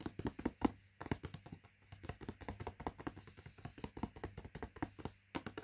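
Fingertips and nails tap rapidly on the front panel of a latkes mix cardboard box lying flat. The quiet, dry, hollow taps come in fast, uneven bursts with brief pauses, each dying out almost instantly. A faint steady low hum runs underneath.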